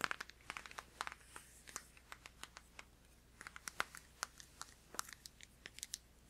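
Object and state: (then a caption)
Plastic deodorant stick. A hand-sized, filled blue plastic Dove Men+Care deodorant stick is tapped and scratched with fingertips and nails. A quiet, uneven run of sharp, dry clicks and light crinkly scratches sounds bright and thin, with each tap dying away instantly.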